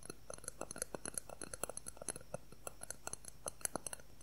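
A thin, solid, transparent plastic ruler about 20 cm long is rapidly tapped and scratched with fingernails. The result is a fast, uneven stream of quiet, dry clicks with bright high-pitched ticks, each dying away almost instantly, over a faint scratchy hiss.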